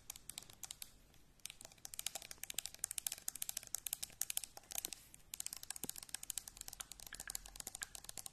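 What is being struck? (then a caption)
Metal aerosol spray can. Long painted acrylic nails tap quickly on the body of a hand-sized, hollow, pressurized metal aerosol shaving foam can, with a blue, white and red label and white plastic cap, held in both hands near the mic. About sixty bright, dry clicks come in rapid, uneven bursts, each dying away almost instantly with very little low end.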